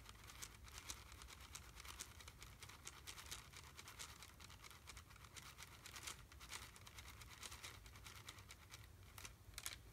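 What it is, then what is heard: Plastic candy wrapper being crinkled. A small red plastic wrapper around a single candy is held in one hand and squeezed and crinkled with the fingertips. It makes a quiet, continuous stream of bright, crackling rustles with brief sharper snaps, over a steady low hum.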